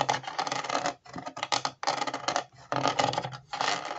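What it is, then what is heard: Plastic puzzle shoe sole scratched. Fingertips and nails scratch along the grooves of the white ridged sole of a hollow plastic jigsaw-puzzle Converse-style shoe, a Ravensburger 3D puzzle, held against a wall. About five bursts of dry, rasping scratches are heard, each broken by brief near-silent gaps. The scratching sounds bright and gritty, with little low end.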